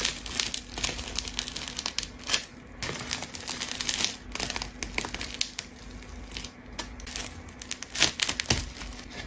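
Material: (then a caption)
Plastic tape. A rainbow layered plastic tape ball is cut with a craft knife and squeezed by hand, giving a dense run of bright, crisp crinkling and tearing crackles. Sharper snaps stand out around the 2-second and 8-second marks over a faint, steady low hum.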